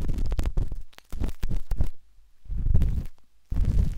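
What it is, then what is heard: Silicone microphone ear, scraped inside. A metal-tipped dot stick with a wooden handle scratches inside the soft, hollow canal of a pinkish-white silicone ear on a binaural microphone. The sound is a close, deep, muffled rumbling of scraping and rubbing in irregular bursts, broken by brief near-silent pauses.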